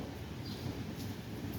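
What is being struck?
Nothing is struck.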